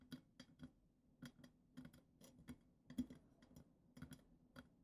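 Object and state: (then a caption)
Glitter-coated glass goblet foot tapped with nails. Long acrylic nails rapidly tap the glitter-coated glass foot of a goblet, making a quick, uneven series of quiet, dry ticking clicks. Each tap is short with almost no ring, with a faint low-mid tone around 250 Hz under a brief bright click.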